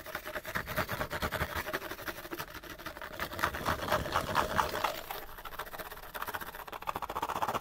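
An empty, small, open-ended cardboard light bulb box, hollow inside, is held up and scratched fast with the fingernails. The result is a dense, rapid, raspy scratching with a papery, hollow tone centered in the mids, swelling louder in bursts toward the middle and end.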